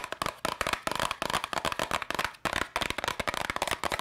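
Long nails rapidly tap and scratch a small, hollow yellow and red cardboard candy box. The result is a dense, fast stream of dry, crackly clicks and scrapes with almost no ring, bright and papery, with little low end.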